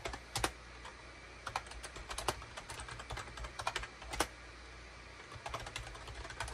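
Fingertips type rapidly on a full-size gray and cream SHIPADOO K600 wired USB plastic keyboard, with a hollow plastic case and keycaps, resting on a desk mat. Quick, bright clicks and clacks come in irregular bursts and pauses and die away almost instantly, over a faint low hum.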